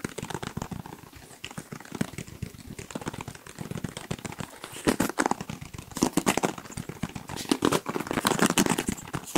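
Fingertips rapidly scratch and flick the multicolored plastic bristles of a black plastic paddle hairbrush held close to the microphones. The result is a dense, fast stream of short, dry crackling ticks with bright edges, growing louder and busier in the second half.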